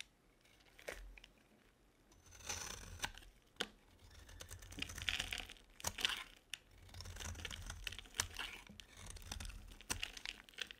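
A metal utility blade carves curls off a ribbed, dry solid bar of soap, blue outside and pink inside, held in the hand. Dry, crisp scraping and crinkling strokes rise and fade in bursts, with sharp bright clicks between them. The sound stays bright and close, with little low end.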